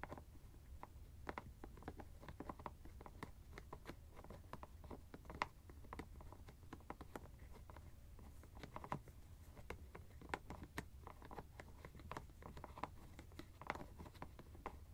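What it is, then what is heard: Plastic screw cap of an ice bag. Fingernails tap and scratch the white plastic screw cap of a teal fabric ice bag held close to the microphone. Quiet, rapid, dry clicks and scrapes patter continuously over a low rumble, each tap dying away almost instantly.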